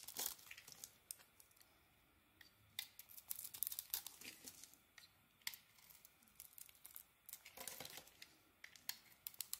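An oval yellow soap bar is shaved with a metal blade, giving quiet, crisp scraping and crackling bursts that come in irregular clusters. The sound is bright and papery, with almost no low end and no ring after each cut.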